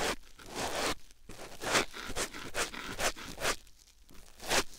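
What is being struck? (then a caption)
Foam sponge on silicone ear microphone. A white foam sponge block held in the hand is rubbed against a silicone ear microphone, making repeated soft, bright, scratchy rustling strokes. About seven separate rubs rise and fall over the clip, each with a crisp, airy texture and quiet pauses between them.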